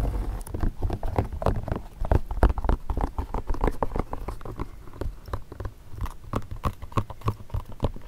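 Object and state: Leather court shoe.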